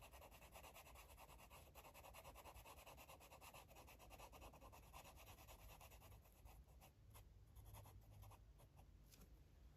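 A green marker rubs across a paper coloring book page in quick, repeated strokes, about three per second. The steady, soft scratching has a low rumble underneath and brighter rasping on each stroke, thinning out to a few separate strokes near the end.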